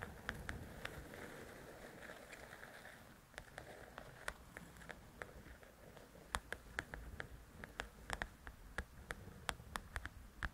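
Long nails scratch and then tap across the glossy cover of a large, flat paperback coloring book. A soft, rustling scratch fills the first few seconds, followed by a quiet, irregular series of sharp, bright clicks that die away almost instantly.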